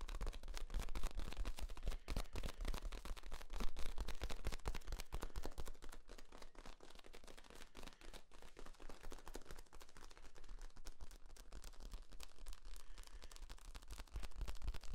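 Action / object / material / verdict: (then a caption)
scrape / corrugated plastic tube / plastic / none. Fingertips squeeze and rub the ribs of a long, hollow, flexible yellow corrugated plastic tube held across the body. The result is a dense, irregular stream of quick ticking and crackling clicks over a low hum. The clicks are louder in the first six seconds, softer through the middle, and swell again near the end.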